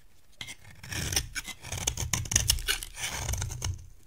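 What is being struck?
Bar of cream soap shaved with a metal blade.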